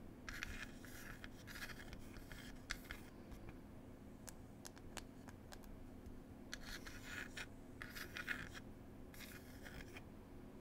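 Long pointed acrylic nails scratch and rub across the wooden surface of a small wooden "Cherry Tea" box with a printed lid. Bursts of dry, bright scratching alternate with sharp, short clicks. A low, steady hum sits underneath throughout.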